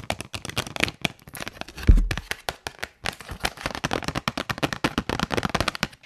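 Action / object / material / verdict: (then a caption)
tap / small paperboard box / cardboard / none. Long nails tap and scratch the surface of a small white printed paperboard box labeled "HONGQIXIANG Highlighter Pen," which is hollow, closed and held in the hand. A rapid run of dry, crisp clicks and scrapes continues throughout, with a louder, deeper thump near the two-second mark and a brief pause around three seconds.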